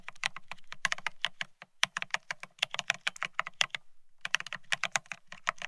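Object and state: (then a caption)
Mechanical keyboard with ceramic keycaps. Both hands type rapidly with their fingertips on a Bear65 mechanical keyboard fitted with blank white matte ceramic Cerakey keycaps on a steel plate, resting on white cloth. A fast stream of short, bright, clacky keystrokes with a faint low thock beneath each press fills the clip, pausing briefly just before the four-second mark before the quick typing resumes. Each keystroke ends almost instantly with no ring.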